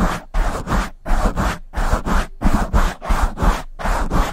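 Both hands rub and scratch a black foam windscreen on a silver microphone with long nails. The result is a series of close, muffled, scratchy bursts at an uneven rhythm, with heavy low rumble and short silent gaps between strokes.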